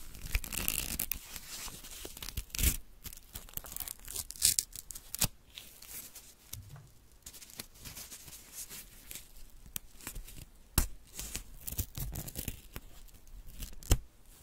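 A small strip of thin white paper, held between fingertips with long nails, is torn into pieces. Quick, dry rips and soft crinkling alternate with sharp, bright snaps that die away almost instantly, separated by quiet pauses.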